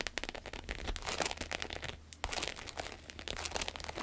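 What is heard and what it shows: Long acrylic nails scratch across the textured surface of a red glossy croc-embossed vinyl wallet lying on a table. The result is a dense run of quick, bright, crinkly scratches and crackles with very little low end. There is a brief lull near the middle before the scratching picks up again.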